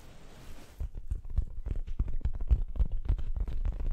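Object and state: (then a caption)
Fabric throw pillow. An orange, soft stuffed fabric throw pillow printed with "hey there pumpkin" is held behind the microphone and scratched with long acrylic nails. The sound is a quick, uneven series of soft, low, muffled scratches and thumps. A faint hiss is heard before the scratching starts.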